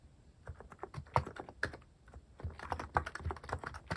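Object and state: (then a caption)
Mechanical keyboard with plastic keycaps. Fingertips type continuously on a mechanical keyboard with plastic cat-shaped keycaps and a white case. Quick, unevenly spaced keystrokes each give a short clack with a low thump and a brighter click on top, and every one dies away almost at once.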